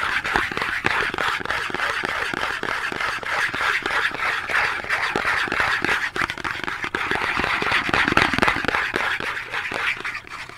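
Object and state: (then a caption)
Cardboard soap box. A small Dove cardboard soap box, held in both hands, is scratched and tapped with long nails. Quick, uneven dry taps, roughly four per second, mix with papery scratching for about ten seconds. The sound is bright and crisp, centered in the upper mids, with very little low end and almost no ring.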